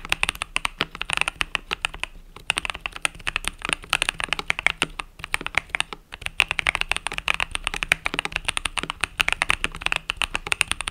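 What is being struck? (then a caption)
Mechanical keyboard with plastic keycaps. A compact mechanical keyboard with cream and purple plastic keycaps, resting on a desk mat, is typed on rapidly with fingertips and long nails. The result is a dense stream of sharp, bright, clacky clicks with very short decay, broken by brief pauses around 2 and 6 seconds.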